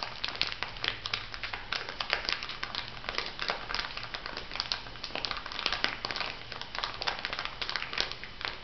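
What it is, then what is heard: Plastic bag of granules. A small clear plastic bag filled with white granules is pressed and tapped by nails and fingertips. It gives a quick, steady run of sharp, bright crinkles and ticks over a soft granular rustle, with no tone between them. The taps die almost instantly and stay quiet throughout.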